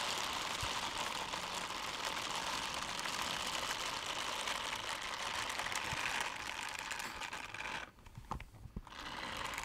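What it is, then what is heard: Silicone scrubbing gloves rubbed together. Pink silicone dishwashing gloves with bristled palms, worn on both hands, are pressed and rubbed together so the bristles scrape against each other. The result is a dense, continuous bright scratching, fairly steady for about eight seconds. Near the end it briefly drops away into a few separate soft taps before the scraping resumes.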